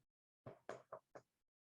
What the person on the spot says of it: So this is wood, and if I knock on it, you can hear that a little bit.